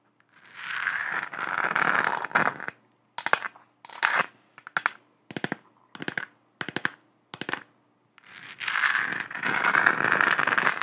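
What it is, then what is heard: Plastic moon lamp. Long acrylic nails tap and scratch a lit, hollow, textured plastic moon globe lamp with a galaxy print. A dry, bright scratching rasp runs for a couple of seconds, then quick clusters of sharp, clicky taps come in short bursts separated by silence. The clip ends with more sustained scratching across the lamp's textured surface.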